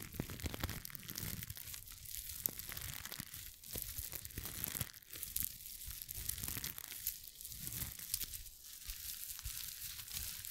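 A small, flexible rainbow rhinestone mesh face mask, folded and held in one hand close to the microphone, is scratched and rubbed with long acrylic nails. It makes a continuous crinkly, glittery rustle with bright, sharp scratches over a soft low rumble from the handling.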